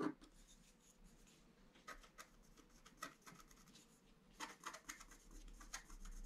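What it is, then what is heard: Scratch-art card being scratched. A wooden stylus scratches flowers and antlers into a flat scratch-art card of black coated paper. Soft, dry scratching strokes come in short bursts, with sharper scrapes near the start, around the middle and toward the end, over a faint steady hum. The level is quiet and close throughout.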